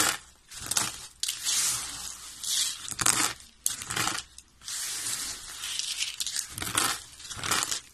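Fingertips with short nails press, crush and rub a pile of thin, green, dry soap shavings on a white surface, breaking up the solid, brittle flakes. Bright, dry crackling and crunching comes in uneven bursts, with quieter gaps between them and almost no low end.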